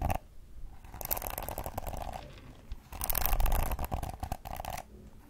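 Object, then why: Plastic hairbrush bristles. Long acrylic nails strum and scratch the flexible plastic bristles of a pink plastic detangling hairbrush held bristles-up in front of the mic. Two dense bursts of rapid, crackling flicks and scraping are heard, separated by a short quieter pause, over a low rumbling background.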